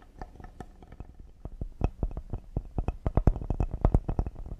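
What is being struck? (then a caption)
Cedar wood serving board. A flat, solid cedar wood serving board with a handle is held upright in both hands while fingertips and short nails tap quickly on its face and edges. The result is a fast, uneven run of short, dry, low knocks with almost no ring, growing louder and denser in the second half.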